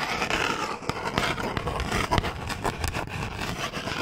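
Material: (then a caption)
Cardboard. Fingernails scratch and rub along the length of a small, long, hollow cardboard box labelled "Bamboo toothbrush." A steady, dense scraping rustle fills the clip, broken by quick, sharp scratch accents with a faint hollow body beneath. Each stroke stops dead with no ring.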